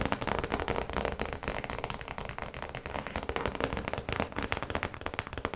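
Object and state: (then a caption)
Clear plastic zip pouch. Long nails tap rapidly on the clear plastic face of a small, flat zip pouch that holds a printed yellow card. The result is a dense, steady run of quick, crisp plastic clicks with a crackly texture. Each tap dies away almost instantly.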